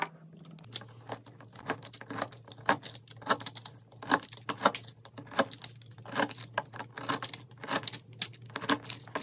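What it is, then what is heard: Soap bar being shaved. A metal knife repeatedly shaves curls from a solid peach soap block with a yellow-pink inside, dropping them onto a pile of flakes. Each pass makes a crisp, crackly scrape with a bright edge, over a steady low hum.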